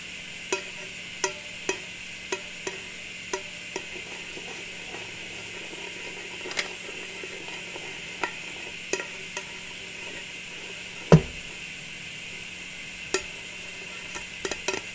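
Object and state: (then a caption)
Metal cookie tin. Long nails tap the closed lid of a small, round, striped metal cookie tin held in the hand. About sixteen sharp, bright clicks are heard, spaced irregularly, each dying away almost at once over a steady low hum and hiss.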